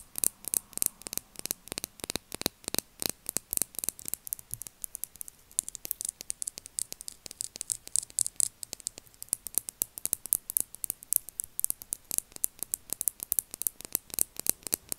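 A small pink plastic lip gloss bottle with a metallic rose-gold cap, filled with gloss, is held and tapped with long acrylic nails. A steady stream of quick, sharp, bright clicks with almost no ring is heard over a faint hiss, with a slightly quieter stretch in the middle.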